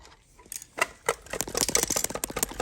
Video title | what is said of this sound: Bernina Nova 900 - Repair the bobbin winder part2 | You can hear it in there.